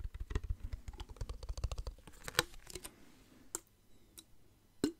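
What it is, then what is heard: Plastic water bottle with water, tapped. A clear plastic water bottle with water inside is tapped and turned so its bottom faces forward. A quick run of soft, dull taps and clicks fills the first two seconds, then a few sparser, sharper taps with brief bright clicks follow. Each hit is short and dry, with its weight mostly in the low end.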